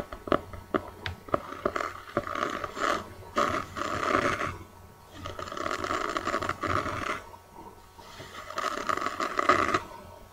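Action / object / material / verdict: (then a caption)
scrape / notebook with a cardboard cover / cardboard / none. Long dark-painted nails tap and scratch the kraft-cardboard cover of a hand-sized, solid notebook printed with a birdcage and ink splatters, held close. A few sharp, dry taps open the clip, then give way to rough bursts of scratching with a mid-pitched papery rasp and bright hiss. The bursts come and go in waves with short quiet gaps between them.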